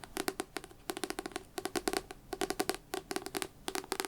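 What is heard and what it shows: Fingers tap rapidly on a devotional paper book in quick bursts of light, dry taps. Each tap gives a short, hollow knock with a bright clicky top and almost no ring. The bursts are separated by brief pauses.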